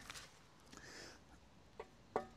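Knuckle knocks on the steel fuel tank of an 18-year-old Yamaha XVS 650 Classic cruiser motorcycle, tapped to show that the tank is metal rather than plastic like the side storage boxes. After a few faint taps, two clear knocks land near the end. Each gives a short, bright, hollow metallic ring centred around 445 Hz that dies away quickly, confirming the tank is metal.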